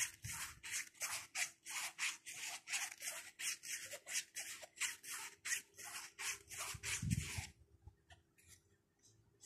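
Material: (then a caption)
Nylon. Fingertips rub and scratch the fabric front pocket and flap of a small black nylon shoulder bag with orange trim, making a quick series of bright, hissy scratching strokes at a steady rhythm. Near the end a soft low thump is heard, and the scratching stops, leaving faint quiet rustles.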